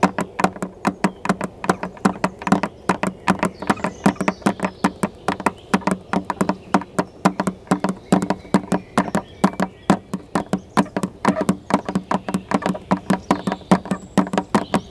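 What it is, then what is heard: Plastic car headlight lens. Long red fingernails tap rhythmically on the clear plastic lens of a car headlight, a large, hollow housing with a chrome reflector inside. Some 76 quick, dry clicks with almost no ring come in a steady, fast patter, each carrying a hollow, low resonance near 184 Hz.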